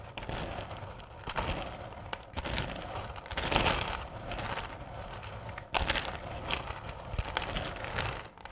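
Hands with long purple nails rake and scratch through a full bowl of small, solid candy corn pieces. The result is a continuous dry, bright rustling and clattering, with louder surges as the candy shifts.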